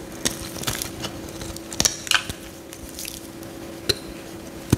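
A metal utility knife blade scrapes crinkly curls off a solid bright green bar of soap held in the hand. Short, bright, crackly scrapes and clicks come in scattered bursts over a steady low hum.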